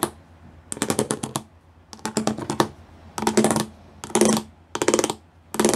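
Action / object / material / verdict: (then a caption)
tap / plastic panel with pyramid studs / plastic / none. Fingertips and nails tap fast over the pyramid studs of a grey plastic studded sheet. The taps come in six quick bursts of bright, dry clicks separated by short pauses, with a faint hollow tone underneath.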